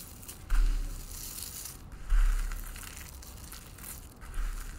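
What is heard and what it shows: A bare hand with painted nails digs into a large pile of dry green soap flakes on a white wooden table, grabbing and squeezing them. Three distinct crushing crunches are heard, each a bright, crackly burst that fades into a softer rustle, over a steady low hum.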